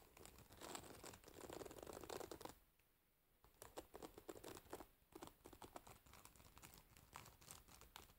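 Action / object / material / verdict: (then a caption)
scrape / wooden hairbrush with metal pins / wood and metal / none. Long nails pluck and scratch the metal pins of a wooden hairbrush held sideways. A dense, crinkly scratching runs for a few seconds, drops to a near-silent pause, then returns as a quick patter of sharp, bright plucks and scrapes until the end.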